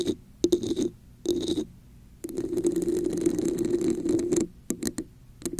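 A hollow red textured plastic cup held over a microphone is tapped and scratched with long acrylic nails. Short bursts of tapping alternate with a longer stretch of rough, raspy scratching. The result is a muffled, resonant scraping tone with a steady hollow ring and bright clicky edges.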